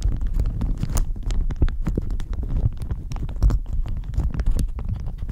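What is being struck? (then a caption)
Thin plastic shower cap. A thin floral plastic shower cap stretched over a microphone is scratched and crinkled with long nails. The result is a continuous close-up rustle of dense, low, muffled rumbling crinkles, dotted with quick bright scratchy clicks throughout.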